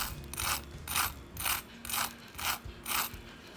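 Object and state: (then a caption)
Crispy fried chicken cutlet. A freshly deep-fried chicken cutlet with a breadcrumb and egg coating is tapped right after frying, giving six evenly spaced, dry, crackly taps about half a second apart. Each tap is a brief bright crunch that dies away almost at once. The sound shows a crispy outer coating, while the inside of the cutlet stays soft.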